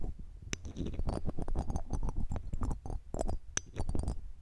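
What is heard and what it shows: A red-gem ring in a metal setting, held in metal tweezers, is rubbed over the round metal mesh grille of a silver condenser microphone. The result is a continuous scratchy, rustling scrape, heavy in low rumble. Brief bright metallic clicks and ticks break through as the ring catches on the mesh.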